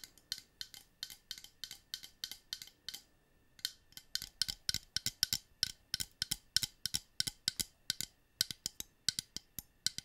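Long painted nails rapidly tap and scratch a small, rectangular, hollow clear plastic brush holder that looks empty and is held in both hands. The result is a steady run of sharp, bright plastic clicks and short scratchy ticks with almost no ring. A brief pause falls around the three-second mark before the clicking resumes.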